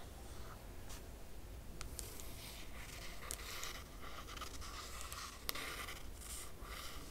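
A single long fingernail traces lines across the laminated cardboard cover of a closed hardcover book. The result is a quiet, steady, dry scratching with brief brighter streaks as the nail drags and lifts, over a low background rumble.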